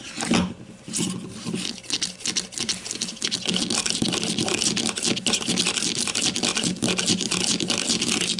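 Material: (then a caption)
Plastic. Long matte mauve nails and fingertips quickly tap and scratch along the top of a grey-green plastic deodorant stick with a cap, about 15 cm long with a hollow casing, lying on its side on a white table. A dense, continuous stream of bright, crisp clicks and scratchy rasps is heard, with a faint low hollow knock under the taps.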